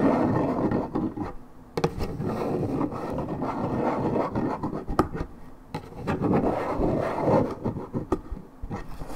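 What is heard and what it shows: Long red and black acrylic nails scratch and tap the printed surface of a hollow Minute Maid 1.75 L coated paperboard juice carton, held on its side with unknown fill. A dense, low-to-mid scraping rasp comes in irregular bursts, broken by a few sharp, quick taps that die out almost at once.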